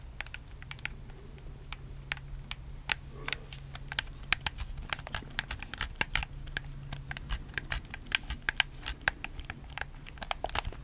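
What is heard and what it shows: A black hollow plastic PS4 controller, held in both hands, is worked by fingertips that rapidly press and click its buttons and triggers. Many sharp, dry, bright clicks and taps land in quick irregular bursts with no ring, over a steady low hum.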